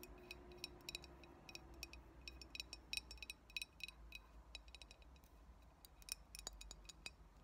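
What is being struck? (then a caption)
Glass bottle. Long acrylic nails tap and scratch the sides of a hollow, mostly empty clear glass cold brew coffee bottle with a paper label. Quick, bright clicks ring near 2.5 kHz over a low steady hum, with bursts of rapid tapping mixed with softer scratching.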